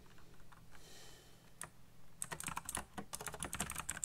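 Fingertips type fast on a backlit black plastic mechanical keyboard with RGB lighting and hollow key switches. Soft, faint taps at first give way to a rapid run of sharp, bright clicks, each with a hollow low thud beneath it.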